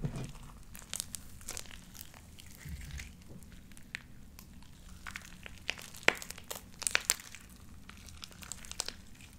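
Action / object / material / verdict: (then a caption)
scrape / beaded slime squeezed between hands / slime / none. Light-blue beaded sticky slime coats the fingers and is squeezed and pressed between the palms and long painted nails. Soft squishing is broken by sharp, irregular pops and crackles with a bright edge, over a low steady rumble.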